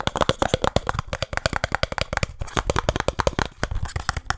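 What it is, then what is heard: Small cardboard box. Fingertips and nails tap fast on the faces of a small, hollow, printed cardboard speed cube box. About thirty quick, dry taps pile together, each a short hollow thump with a bright papery click that dies almost at once.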